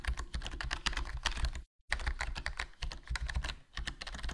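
A HyperX Alloy Core RGB plastic membrane gaming keyboard with a foam mod, black plastic body and black plastic keycaps, and a hollow case is typed on continuously with fingertips. The result is a quick, dense run of soft, short keystrokes with a low thud under brighter clicks. The typing stops briefly to silence before carrying on.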